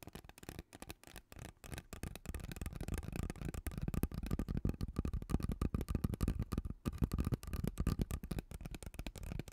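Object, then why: Ribbed plastic pop tube. Long teal nails scratch across the ridges of a hollow, purple ribbed plastic pop tube held close to the mic. The result is a rapid, uneven stream of short, dry clicking rasps with a low, hollow tone that dies away almost instantly, growing somewhat louder after the first couple of seconds.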